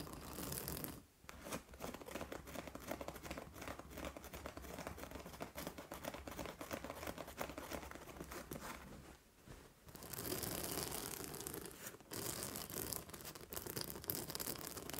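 Long nails scratch the fabric top of a medium, soft-filled purple acupressure pillow with white plastic spikes at the edge. The result is a steady, dense scratching and rustling with brief pauses near the start and around the ninth to tenth second, turning brighter and harsher in the last few seconds.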